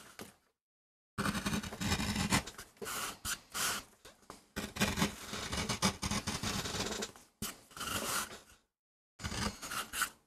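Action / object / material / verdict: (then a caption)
scrape / MDF board carved with a metal gouge / MDF / none. A metal gouge carves and scrapes across the surface of a small, flat, solid MDF board while fingertips hold it steady, cutting a rose design for a relief print. The sound is a run of dry, gritty scraping strokes with a bright, hissy edge and a low rasp, broken by short silent pauses between cuts.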